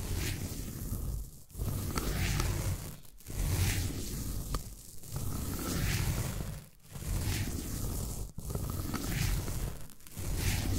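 A derma roller is rolled back and forth across the top of a solid green floral foam brick, scratching the foam. It makes steady, rough, crackly scratching strokes that are heavy in the low end with a faint bright fizz, separated by brief quiet gaps as the roller changes direction.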